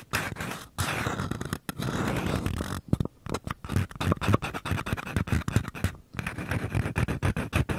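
Fingertips and short nails tap and scratch the walls and rim of two identical small, empty, hollow paper cups held sideways. Steady dry scratching with brief pauses gives way to quick bursts of soft, hollow taps, then scratching returns near the end. The sound is dull and low-heavy, with little brightness.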